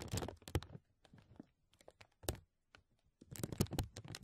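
Fingertips and nails scratch and crinkle a thin, clear, embossed plastic vacuum-seal bag stretched over a mesh mic dome. The result is close, dry, crackling rustles with soft low thumps from handling and bright crisp edges. Bursts of crinkling come and go, with a brief near-silent pause before a final dense flurry.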